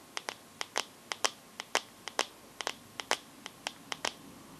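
Long gold-painted fingernails give eighteen quick taps on the glossy glass back of a teal Samsung smartphone with a metal frame, held upright. Each tap is a short, sharp, bright click that dies away almost instantly. The taps come in loose, uneven pairs over faint background hiss.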